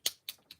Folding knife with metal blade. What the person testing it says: I can shake this the Blade's rattling a little bit but it's not going to fly out on me